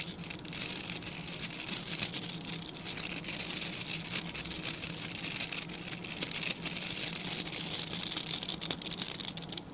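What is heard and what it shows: Fingertips and nails scratch and rub along the dense, stiff bristles of a small dark-grey rectangular brush. The result is a steady, bright, crackly hiss that swells and dips in loudness, with a faint low hum underneath.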